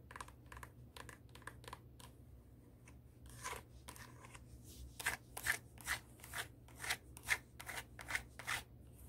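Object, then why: High-heel shoe with a hard sole, scratched by long nails. Long acrylic nails scratch the tan sole and the upper of a black high-heel pump that is turned over. Quick, dry, bright scratching strokes come in bursts, sparse and faint at first, then louder and more regular in the second half. A steady low hum sits underneath.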